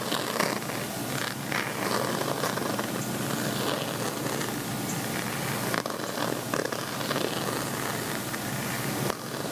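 Fingertips and nails scratch the textured weave near the zipper of a gold woven metallic fabric cosmetic zip pouch with a chevron texture, lying flat and likely empty. The result is a steady, continuous, dense scratchy rasp with a bright, crackly texture and no pauses.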